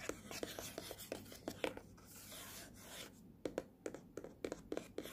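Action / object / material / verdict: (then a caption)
tap / small printed cardboard box / cardboard / none. Fingernails scratch and tap the glossy front of a small, hollow, printed cardboard earphone box, then move toward its side edge. Sharp, dry taps with a hollow midrange knock come in quick bursts. A softer, hissy scratching stretch in the middle separates them.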